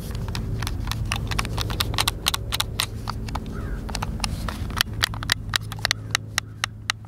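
A white, hand-sized, hollow plastic Xbox controller is held in both hands while fingertips and thumbs press and click its buttons. A rapid, irregular run of short, sharp, bright clicks rides over a steady low rumble. The clicks thin out toward the end, leaving distinct crisp snaps with almost no ring.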